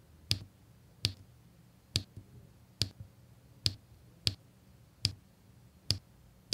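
A pink drill pen with a metal tip taps square resin diamond-painting drills into place on a flat adhesive canvas with an already-filled area. Nine short, sharp clicks come at a loose pace of roughly one per second, each pairing a bright snap with a faint low thump and dying away almost instantly over quiet background.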